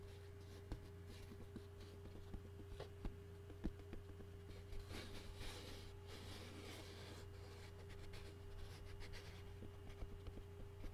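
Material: Pressed paper.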